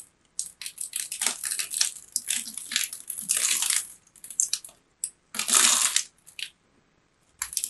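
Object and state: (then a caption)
Bar of soap being cut. A small craft blade scores and cuts a grid of cubes into the surface of a palm-sized, rectangular bar of purple soap held in both hands. Bursts of bright, crisp scraping and crunching come in quick runs and longer strokes, separated by brief silences.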